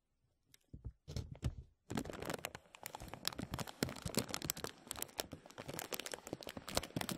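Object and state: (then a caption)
Plastic bag crinkled and tapped. Fingertips and nails tap and crinkle a thin, clear, embossed plastic vacuum-seal bag stretched over a mesh mic dome. A few sparse, soft taps and rustles open the clip, then at about two seconds it breaks into dense, continuous crackling and crinkling with bright, sharp ticks and a low, close thump underneath that lasts to the end.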